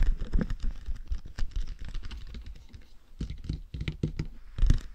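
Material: Plastic.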